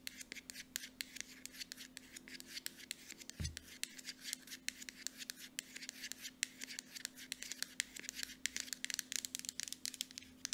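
Long nails rapidly tap and scratch the body of a small cream Aveeno moisturizer bottle made of hollow plastic with a mint-colored cap. The result is a dense stream of sharp, bright, dry clicks and scratchy rasps, with a steady faint low hum underneath and a brief low thump near the middle.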